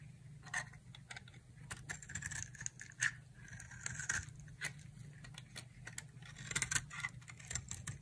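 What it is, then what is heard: Dry soap bar being shaved. A solid green dry soap bar with an orange-coated rim is held in the hand and shaved with a utility knife blade. Many short, bright scraping and crackling strokes sound over a steady low hum. The strokes are dense and irregular, so they blur into a crisp carving texture.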